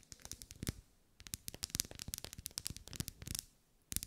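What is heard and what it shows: A lit pink pillar candle of solid wax with vertical ribs, held in a hand, is scratched and tapped along its ribs with long nails. Quick, dry, bright clicks and scratchy crackles come in dense bursts separated by short pauses, each one stopping almost instantly with no ring.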